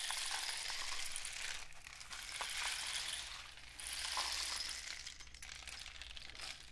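A painted cardboard rain stick with a dark end cap is tilted and tapped with the fingertips. It makes a dense, bright, continuous rattle of pellets that swells and fades in waves, over a faint steady low hum.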